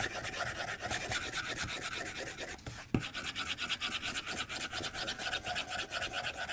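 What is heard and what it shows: The tip of a white plastic stylus, held upright, rubs and taps the glass screen of a tablet lying on a desk. A steady run of bright, scratchy rubbing strokes repeats in a loose rhythm, briefly quiets, then resumes after one sharp tap near the middle.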